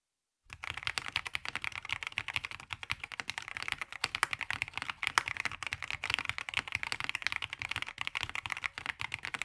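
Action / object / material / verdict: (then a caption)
tap / mechanical keyboard with plastic keycaps / plastic / none. Both hands type continuously on a black VortexSeries GT65 LITE 65% mechanical keyboard with plastic keycaps, resting on a grey desk. After a brief silence, a steady, rapid stream of bright, sharp plastic clacks follows, each keystroke short and dry with almost no low end.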